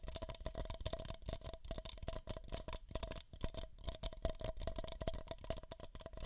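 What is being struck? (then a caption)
Two empty paper cups. Fingertips and nails rapidly tap two identical empty, hollow beige paper cups held close to the microphone. The taps come quickly and unevenly, each a short hollow thump with a bright papery click that dies away almost at once, over a steady resonant tone near 650 Hz.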